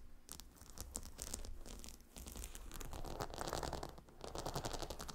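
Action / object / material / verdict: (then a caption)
scrape / stone-tile pillow scratched and tapped with fingernails / stone / none. Long nails of both hands scratch and tap the hexagonal stone tiles of a gemstone hot stone pillow lying on dark carpet. The result is a dense, irregular stream of bright clicks and gritty scrapes over a low rumble, with brief lulls near the two- and four-second marks.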